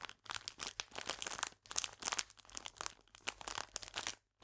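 A full clear plastic biscuit bag, held upright, is squeezed and crinkled with fingertips and long nails. This produces bright, crackly crinkling in rapid, irregular bursts, with almost no low end. The sound stops abruptly near the end, leaving a brief silence.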